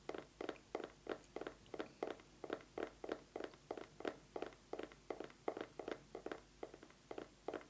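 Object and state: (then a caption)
Eyeglasses case. An eyeglasses case is tapped fast with fingernails in a steady run of short, dry clicks. Each tap has a slight hollow tone around 450 Hz and dies away almost at once.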